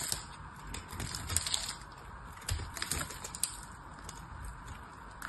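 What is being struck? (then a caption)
Painted soap bar. A knife cuts into the end of a solid oval soap bar with a ridged, blue-painted surface, and dry soap crumbles off. The sound is a quiet, bright crackle of short clicks and crunches, with a few sharper snaps over a steady papery hiss.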